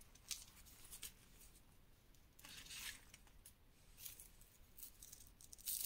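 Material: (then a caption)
Chalk. A loose, dry pile of reformed gym chalk powder and crumbs, dyed green and pink, is pressed, squeezed and rubbed with bare fingertips and palms. It gives soft, bright crunching and crumbling crackles in short bursts over a quiet hiss, with a louder crunch at the end.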